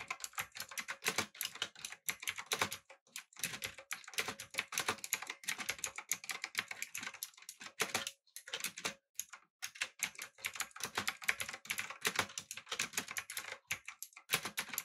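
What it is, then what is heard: Mechanical keyboard with plastic keycaps. Fingertips type on a backlit, typewriter-style mechanical keyboard with round plastic keycaps. The result is a steady, rapid stream of sharp, bright clicks with almost no low end, broken by a few brief pauses.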